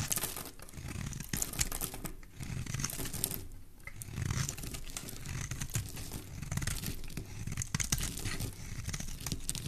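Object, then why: Bar of soap cut with a blade. A solid oval green soap bar held in the hand is carved into long curls with a utility knife blade. Steady scraping and cutting fill the clip, with crisp, crackly bright snaps over a soft low rumble. The strokes continue without a break to the end.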